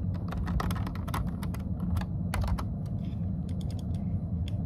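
Fingertips type on a plastic computer keyboard, producing quick, bright key taps over a steady low rumble, and the clip ends with a single finger pressing one key.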